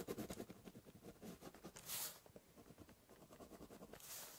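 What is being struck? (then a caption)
Corrugated cardboard box. A ballpoint pen tip scratches across a large, hollow brown corrugated cardboard box while writing and drawing. A run of quick, dry scratchy strokes with a hollow papery body is heard. Two brighter, hissier sweeps stand out near the middle and at the end.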